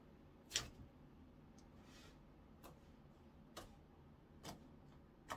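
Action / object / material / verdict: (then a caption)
tap / clear slime pressed and poked with fingertips / slime / none. Flattened, translucent orange clear slime is pressed, folded and poked with fingertips on a wooden counter. It gives off several quiet, sharp, bright clicks and pops, spaced apart over a low, steady background hush.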